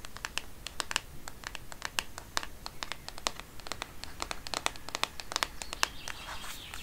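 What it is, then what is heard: Plastic phone case. Long painted nails tap rapidly on the back of a black Microsoft smartphone in a textured plastic case, held in one hand. The result is a quick, uneven stream of dry, bright clicks that stop instantly with no ring, over a soft, low background hiss. A scratchier, brighter texture enters near the end.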